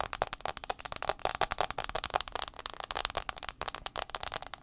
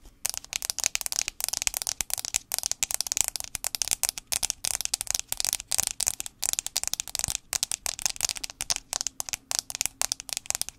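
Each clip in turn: First: Rapid, crisp fingernail ticks on a phone's glass screen, each one dry and gone instantly. Second: Rapid, bright fingernail ticks on a phone's metal back, crisp and dry with no ring.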